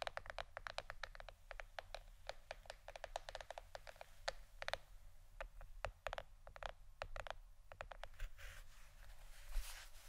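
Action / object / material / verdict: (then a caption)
tap / plastic board / plastic / none. Fingernails rapidly tap a plastic shirt-shaped board, producing dozens of short, dry, bright clicks with very little ring. Near the end the taps give way to a softer, airy scratching. A steady low hum sits underneath throughout, and the overall level is quiet.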